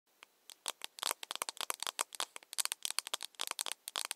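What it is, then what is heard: Plastic cup. A small, empty, hollow, pink-lit plastic cup, held in both hands, is tapped all around its side with long nails. A quick, uneven run of sharp, bright clicks follows, each dying away at once, with a light rattling, crackly quality and almost no low end. The sound is quiet and close, and there is no voice.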